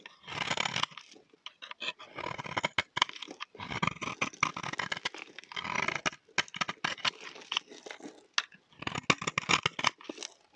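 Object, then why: Bar of soap scraped with a knife blade. A solid, dry, cream-colored rectangular bar of soap is held in the hand and scraped with a utility knife blade, shaving off fine curls. The scraping comes in rapid bursts of bright, crisp crunching and tearing, with short gaps between strokes.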